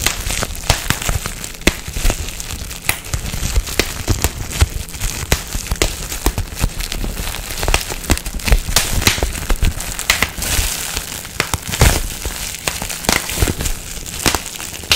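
A sheet of clear plastic bubble wrap with air-filled bubbles is held close and squeezed between fingertips and thumbs, crinkling the sheet. Sharp, bright pops snap out one after another over a constant crackling rustle and low rumble. The bubbles burst in quick, uneven succession throughout.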